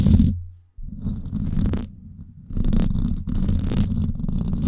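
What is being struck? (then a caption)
Woven metal mesh microphone grille. Long acrylic nails scratch the hollow, silver woven-wire dome grille of a Blue Yeti microphone, fast and slow. The result is a deep, rumbling, scratchy rustle concentrated in the low end, arriving in dense bursts separated by brief near-silent gaps.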